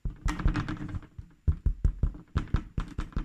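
A home-baked loaf of bread, turned out of its tin, is tapped repeatedly on the bottom, giving a series of dull, low thuds with almost no ring. The taps do not sound very hollow, suggesting the loaf, which also rose less than expected, may be underbaked.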